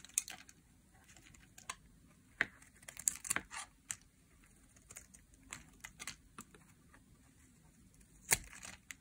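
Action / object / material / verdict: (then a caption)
scrape / translucent glycerin soap bar / glycerin soap / none. A utility knife blade scrapes and peels thin slices off the surface of a translucent pink glycerin soap bar held in the hand. The result is a scattered series of short, crisp, bright scraping clicks and soft shaving rasps, each dying away almost instantly over a quiet background.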